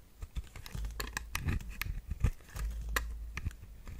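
A metal blade with a white handle scrapes a round, solid, dry pale pink bar of soap held in the hand, chipping and breaking off pieces. The result is a quick run of crisp, bright clicks and dry scratches over a soft low rumble.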